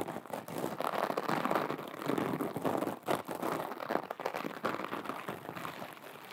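Long acrylic nails scratch a small, flat, soft teal glitter fabric pouch close to the mic. The result is a dense, crackly, rain-like scratching, centered in the low mids with little bass, rising and dipping in loudness as the strokes continue.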